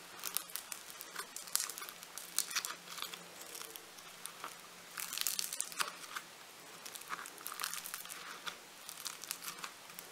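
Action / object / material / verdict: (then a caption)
scrape / lump of foam-bead clay / foam-bead clay / none. A hand-sized solid lump of pink foam-bead clay is squeezed and pinched between fingertips and thumbs. It gives off dense, bright, crinkly crackling in irregular bursts, with a louder flurry around the middle. A faint steady low hum runs underneath.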